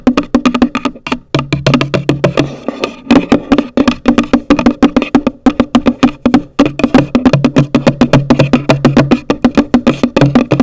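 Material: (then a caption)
Cardboard. Long nails tap and scratch the top of a hollow, pale green printed cardboard gift box. A rapid, steady run of dry, hollow knocks comes through, each with a short woody resonance around 260 Hz and a soft scratchy rasp between them.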